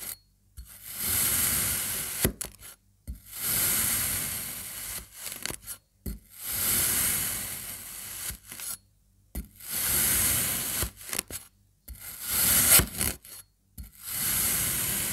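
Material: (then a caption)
Kinetic sand. A serrated metal knife slices down through the orange section of a solid, dense slab of rainbow-coloured kinetic sand pressed into triangles. Repeated grainy, hissy cutting and scraping strokes swell and fade, bright and crunchy, separated by brief silences and small sharp clicks.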